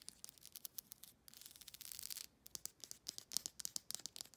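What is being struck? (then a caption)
Plastic comb brush with rows of teeth. Long nails scratch and flick across the rows of teeth on a black plastic comb-like brush. Quiet, bright, high-pitched ticks come in a quick run, then a steady scratchy rasp, then another burst of sharp flicks, about two dozen clicks in all, each dying away instantly.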